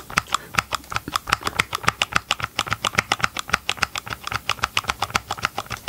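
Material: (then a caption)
Plastic. Gloved fingertips tap rapidly on the hard, hollow green and grey plastic housing of a Ryobi chainsaw held close to the microphone. About 39 quick, dry clicks come in an uneven, steady patter, each with a hollow knock centered near 1.2 kHz and a bright edge. Every tap dies away almost at once.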